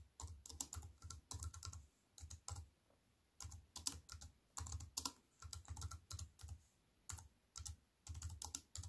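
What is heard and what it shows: A compact wireless keyboard with black plastic keys on a grey metal-look frame sits flat on a wooden table and is typed on with fingertips and long white-painted nails. Quick bursts of crisp, bright plastic taps over a soft low thump come in clusters, separated by short pauses. Each tap dies away almost instantly.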